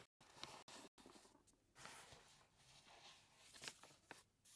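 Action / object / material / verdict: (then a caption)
scrape / paper bag of flour / paper / none. A large, full paper bag of flour is held in the hands while fingertips rub and scratch its paper surface and the bag is turned. The result is quiet, bright, crinkly rustling and scratching, broken by brief silent gaps near the start, with a few sharper scratches toward the end.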